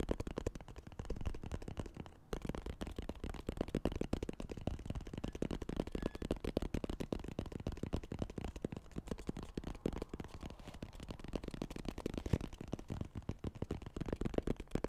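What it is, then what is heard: Light wooden box. Fingertips and nails tap and scratch the lid and sides of a small, light-colored, hollow wooden box with a small clasp. The result is a fast, dense stream of short, dull knocks, mostly low and hollow-sounding with very little brightness, mixed with soft scratchy texture. There is a brief pause just after two seconds before the rapid tapping resumes steadily.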